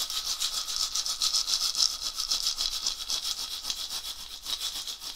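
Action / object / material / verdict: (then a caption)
shake / dried gourd rattle with wooden handle / gourd / none. A round, dried gourd rattle with a wooden handle, hollow and filled, is shaken by hand near the lap. It gives a steady stream of bright, high, hissing rattles in quick, slightly uneven pulses, with almost no low end and no ring after each shake.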